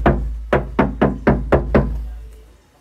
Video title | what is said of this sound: PEMASANGAN FULL PEREDAM VTECH‼️MOBIL HYUNDAI STARGAZER #stargazer #hyundai #creta #ionic | Nah ini saya ketok nah terdengar sekali di bagian dalam nah terasa banget suaranya